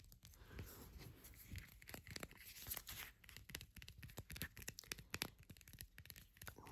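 Fingers tap on a plastic deodorant container, producing a quick run of crisp, dry clicks and taps with brief, bright transients and a soft low thump under each. The taps come in an irregular, rapid flurry with almost no ring.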